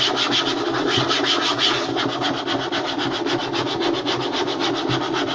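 Fingertips and short nails rub and scratch quickly across a flat, light wooden tabletop, making a steady, fast run of dry, rasping strokes. Each stroke carries a bright, high hiss over a soft, papery body, at an even loudness throughout.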